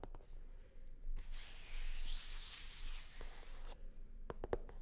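Long nails rub and scratch across a hollow, navy blue hard-shell sunglasses case covered in faux leather. A few soft scrapes give way to a sustained, bright scratching sweep, followed by several quick, sharp clicks of the nails against the shell.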